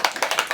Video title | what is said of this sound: March 2016 Favorites - Laura Neuzeth | shake it up just so you can hear how liquidy it is